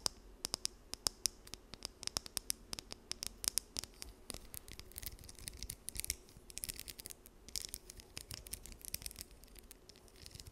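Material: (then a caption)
Plastic. Long nails scratch and flick the teeth of a small, solid, blue plastic wide-tooth comb held close to the mic. Dozens of sharp, dry clicks and ticks are heard, crisp and high with almost no ring. Faint scratchy rustle fills the gaps between them.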